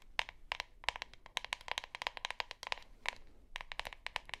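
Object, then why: Plastic deodorant stick container. Long nails scratch and tap along the sides and bottom of a hollow plastic deodorant stick container with a printed label and white cap. The result is a rapid, irregular series of sharp, dry clicks with no ring, a hollow tone around 950 Hz and bright high crackle, over quiet background noise.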